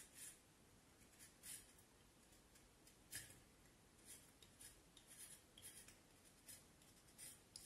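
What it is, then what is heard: Vine wood stick being whittled. A small knife blade whittles along the side of a solid, curved vine wood branch about forearm length, making repeated short scraping cuts. Each cut is a quiet, bright, dry rasp that rises briefly above a soft, steady background hiss, leaving thin scraping bursts spread across the clip.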